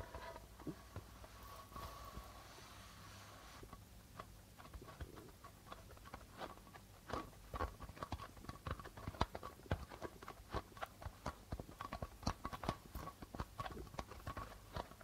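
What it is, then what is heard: Darbuka drum with plastic head, tapped. A hollow darbuka drum with a plastic head is played with an open hand and fingertips that tap and rub the membrane. Soft rubbing and a faint low hum open the clip, then a quick, uneven run of short, dry taps follows, each dying away at once.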